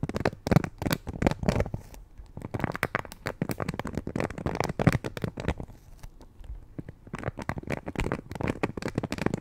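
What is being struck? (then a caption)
Plastic paddle hairbrush bristles. Long painted nails scratch and pluck the thin bristles of a black plastic Conair paddle hairbrush held face-up. Dense bursts of rapid, crackly clicks and soft scratching run throughout, heaviest in the low end, easing into quieter stretches around two and six seconds before picking up again.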